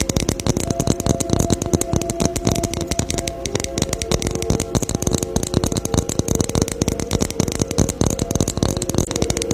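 Fingers tap rapidly and continuously on a Christmas ornament ball for close to ten seconds. Each tap is a short, dry click that dies away almost immediately, over faint sustained tones in the low-mid range. The tapping stays at a steady, even loudness throughout.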